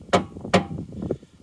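Knocks on the underside of a Corsa B's fuel tank: two loud, hollow, dull thuds, then a softer one. They ring briefly and sound empty, because the little fuel left in the tank has probably evaporated.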